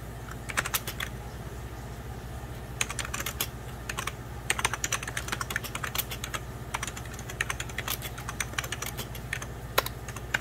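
Fingertips type and tap on the keys of a beige plastic 1990s Packard Bell computer keyboard resting on a white cloth. Bursts of short, bright, dry clicks come in irregular runs, some keystrokes sharper than others, over a steady low hum.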